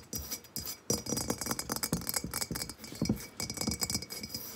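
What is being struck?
Unglazed clay vase.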